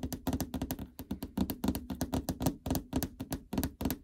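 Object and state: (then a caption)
Plastic treadmill display cover tapped. Long fingernails and fingertips tap the plastic cover over the LCD screen of a treadmill console with a hollow housing. About two dozen quick, dry taps come in an uneven rhythm. Each one is a short, hollow plastic click over a low thunk that dies away almost at once.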